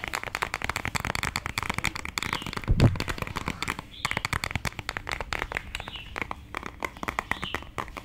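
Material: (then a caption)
Cardboard. Long dark nails rapidly tap and scratch a small, hollow, white printed cardboard cosmetic box held up in the air. The result is a dense run of short, dry clicks and scratchy rustles, with one louder hollow thump near the middle.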